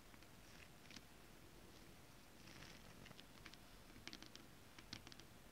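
Long acrylic nails tap and scratch a flat piece of shiny holographic foil-printed stretch fabric with a mermaid scale pattern, lying on a surface. Soft, bright ticks and brief scratchy rustles sit over a quiet low rumble, with a few sharper clicks bunched near the end.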